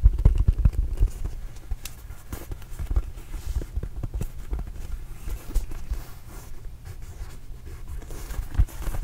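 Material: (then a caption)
Rubber. A small red and blue Arizona rubber basketball, hollow and inflated, is held close to the microphone and tapped and scratched with fingertips and nails. Dull, deep thumps with almost no ring come in a steady, uneven stream, with faint scratchy rustles between them.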